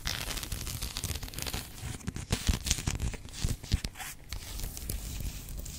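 Long acrylic nails scratch and tap along the ornate gilt-tooled leather spine, with red labels, of a thick, solid antique hardback book with a brown leather cover, held upright and then sideways. A continuous dry, rasping scratch runs throughout, broken by soft, low tapping thumps with almost no ring.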